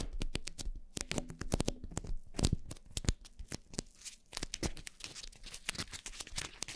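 Long painted nails and fingertips scratch two black foam windscreens on upright microphones. The result is a close, dense stream of rapid crackling scrapes and sharp broadband ticks over a low, muffled rumble, with bright hissy texture between the strokes.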